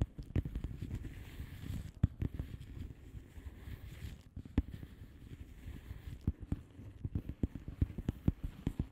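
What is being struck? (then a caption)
Plastic bubble wrap mailer envelope. Long manicured nails of both hands tap and scratch a flat blue plastic bubble wrap mailer envelope with air-filled bubbles. Quiet, soft, dull taps come in a rapid, uneven stream over a low rustling scratch, with a few sharper clicks standing out. The sound stays low and muffled, and each tap dies away almost instantly.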